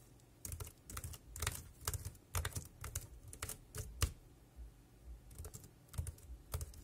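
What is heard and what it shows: Fingertips type continuously on the round keys of a dark grey, hollow-bodied plastic wireless keyboard. Quick clusters of short, dry taps each carry a low hollow thump and a bright click, with brief pauses between bursts. The keystrokes stop instantly, with no ring.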